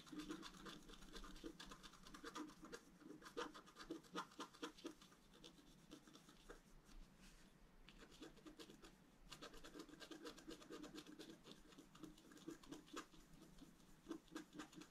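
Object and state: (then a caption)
Scratch-art paper sheet being scratched. A pointed wooden stylus scratches lines into a thin, flat, black wax-coated scratch-art paper sheet lying on a table while the other hand holds it steady. Dense, dry scratching strokes come in quick bursts with a bright, gritty edge, easing briefly around the middle before resuming.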